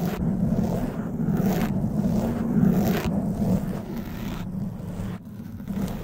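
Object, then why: Foam microphone windscreen. Long white nails scratch a black foam windscreen on a silver microphone, producing a continuous, rough rustling that is heavy in the low and low-mid range. The scratching swells and eases in uneven strokes, briefly softens near the end, then picks up again.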